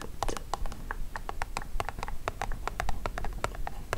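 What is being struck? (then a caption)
Cardboard perfume box. Long acrylic nails tap and scratch along the top of a long, hollow, rectangular printed cardboard perfume box lying flat on a dark fabric mat. The result is a quick, uneven run of dry, clicky taps with almost no ring, mixed with soft scratching, over a low background hum.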